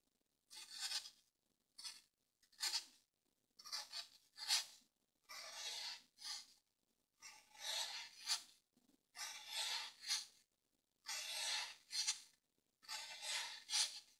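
A green-handled pointed tool is drawn along a solid grey dry floral foam brick with a crosshatched surface, scratching and cutting a long line. The result is thirteen separate dry, bright, raspy scraping strokes with short gaps between them and no low rumble.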